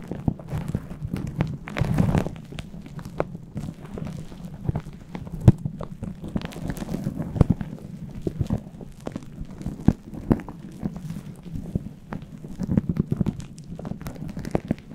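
Fingertips and nails on both hands scratch and rub a fluffy faux-fur synthetic windscreen on a microphone. The result is a dense, muffled low rustle and crackle full of quick, sharp scratchy ticks, with a brief swell of brighter friction around the two-second mark.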